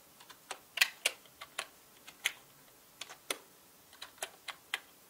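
Fingertips from both hands tap the plastic keycaps of a full-size black mechanical keyboard, producing a quiet run of short, bright clicks. The keystrokes come in an uneven rhythm, some soft and some sharper, each dying away almost at once with no low thump.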